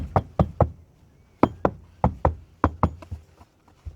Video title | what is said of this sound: Ep. 2: Tartan 27 restoration inspection and initial walk through. | thunk and actually goes down a little bit okay that's a soft deck